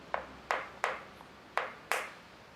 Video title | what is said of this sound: Japon : les Secrets du fameux Bouillon, le Dashi I SLICE VOYAGE I DOCUMENTAIRE COMPLET | pas encore bien sèche ça sonne creux